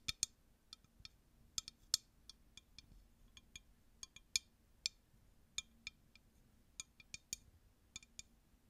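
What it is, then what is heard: Empty glass tumbler. A clear, empty, hollow drinking glass tumbler is tapped and clinked with long nails in about twenty quick, irregular hits. Each hit makes a soft, bright, high click that dies away almost instantly, over a faint, steady low hum.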